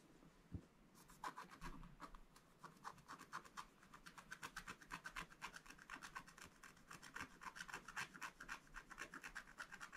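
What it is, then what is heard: Scratch-art paper being scratched. A wooden stylus makes steady scratching strokes across the black coating of a flat scratch-art paper page. Each dry, raspy stroke is bright and short, repeating about four times per second with an uneven rhythm, and the strokes grow denser and slightly louder toward the end.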